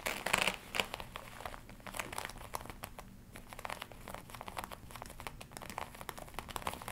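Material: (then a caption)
Leather. Long nails scratch and fingertips rub the chest panels of a glossy black leather jacket worn on the body, crinkling the leather. Dense, bright crackles and soft scraping rustles run throughout, with the loudest bursts near the start.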